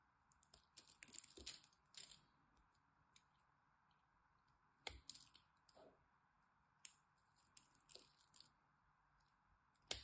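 A blade cuts and scrapes across the scored surface of a solid green dry bar soap, and small cubes crumble away. Quiet, bright, crisp crunches and scratchy clicks come in short irregular bursts over a faint steady hum, with each sound dying away almost at once.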